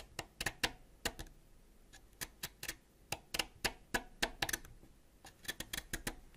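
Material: Wax.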